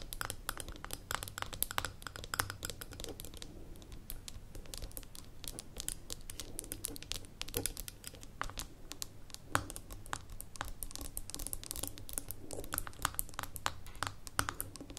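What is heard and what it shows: Long nails tap the gold metal lid and glass sides of a small labeled amber glass jar standing on a table. The result is a quiet, dense stream of quick, sharp clicks and taps with bright edges over a low steady hum.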